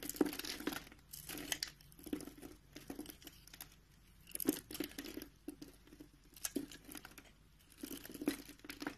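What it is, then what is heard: Soap bar being carved. A green-handled utility knife scrapes and cuts small cubes off the edge of a solid, palm-sized mint green soap bar, and the cubes scatter onto the surface. Quiet bursts of dry, crisp crinkling and scraping come in waves, with sharp little clicks as the pieces break away. Brief pauses fall between the strokes.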